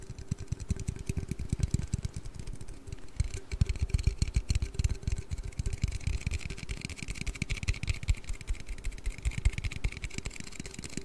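An aluminium Red Bull energy-drink can is tapped and handled in a quick, steady stream of light taps for about eleven seconds. The taps land as soft, low thumps with faint bright ticks on top and a quiet tone humming beneath, each one dying away almost instantly.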